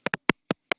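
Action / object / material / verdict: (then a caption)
tap / audio jack cord and phone / unknown / none. An audio jack cord, meant to help with recording, is tapped against a phone five times. Each tap is a short, dry click with no ring. The clicks are broad and bright, with a pitch near 234 Hz.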